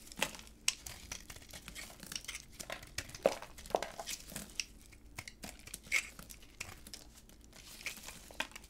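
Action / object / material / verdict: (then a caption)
scrape / bar of soap cut with a knife blade / soap / none. A solid white dry bar of soap, held in black gloves, is cut into flakes and chunks with a utility knife blade. The cutting makes a steady run of crisp, bright, crinkly scraping and crunching, broken by sharp little snaps as pieces break away. Every snap is very short and dies almost at once.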